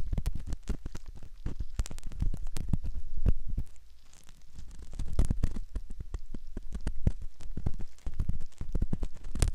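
A metal ear pick scratches inside the canal opening of a soft silicone ear model, making a dense run of close, muffled scrapes and crackling clicks. The sound is deep and thumpy, with sharp taps flicking up into the highs and a brief quieter stretch midway.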